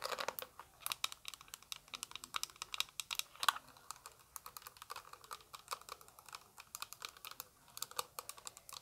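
A small translucent orange plastic eyeshadow palette, held close, is tapped rapidly with long acrylic nails. The result is a quick, irregular run of light, sharp clicks with a bright, crisp edge and almost no ring or low end, resembling fast typing on a keyboard.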